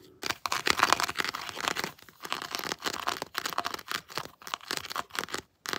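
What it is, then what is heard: Plastic action figure. Long blue nails scratch the ridged plastic dreadlocks with colored rings on a plastic Predator action figure. The result is a run of dry, crackly scratching bursts, bright and papery with almost no low end, broken by short silent gaps.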